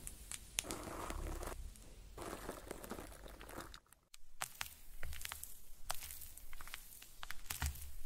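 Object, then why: Thin paper cardstock card with cut-out paper pieces. A hand-sized, thin flat cardstock card with colorful paper cut-out eyelashes is held in both hands and tapped and scratched with long painted nails. Soft papery scratching and crinkling mix with many sharp, bright clicks over a low rumble, with a brief near-silent pause around the middle.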